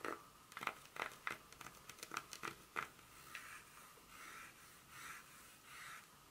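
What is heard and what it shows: Long fingernails scratch and tap along the segments of a solid dark chocolate bar held in one hand on its foil backing. The first half is a quick series of sharp, dry clicks with a faint steady tone near 1.2 kHz. The second half turns into softer, longer, bright scraping strokes.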